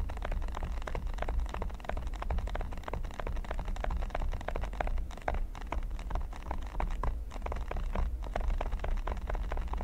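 Fingertips and short nails of both hands scratch and tap the small pyramid studs of a flat, solid red silicone baking mat lying on a table. A steady stream of quick, crisp scratches and soft taps continues throughout, over a constant low hum.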